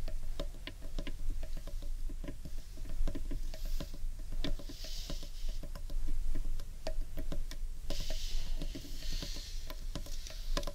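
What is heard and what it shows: Fingertips and nails tap quickly on the underside of a large, hollow, carved wooden bowl. The result is a steady patter of short, dry, woody clicks over a deep, hollow low resonance, with brief bursts of high, airy scratching around the middle and near the end.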